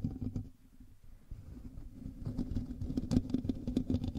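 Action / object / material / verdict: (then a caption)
scrape / metal mesh microphone grille / metal mesh / none. Both hands scratch the hollow metal mesh grille of a black USB microphone with fingertips and nails, making close, low, rumbling scratches with a faint hum underneath. The scratching thins out and turns quieter for a moment, then returns louder and denser with sharp, bright rasping strokes toward the end.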